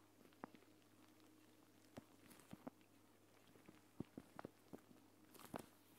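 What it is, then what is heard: Plastic gel bead eye mask. A hand with long painted nails presses and taps with its fingertips on a flat, clear plastic gel bead eye mask, a pouch filled with green gel beads lying on a woven mat. About eleven soft, short taps and squishy clicks come at irregular intervals over a quiet, steady low hum, with no ring after each touch.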